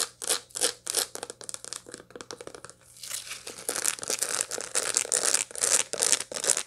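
Long light-blue nails scratch across the packed seeds of a dried sunflower head held in both hands. The result is a run of quick, dry, bright scratching strokes with a crackly, tearing texture, irregularly spaced at first, then merging into denser, more continuous scraping in the second half. A faint steady low hum sits underneath.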